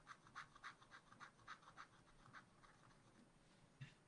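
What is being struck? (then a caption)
Wax-coated scratch art card scratched with a wooden stylus. A wooden stylus scratches lines through the black coating of a scratch art card in a spiral pad, making a quick, uneven run of dry, scratchy strokes centred in the upper mids. The strokes fade to a soft rasp partway through, then one last sharper stroke is heard near the end.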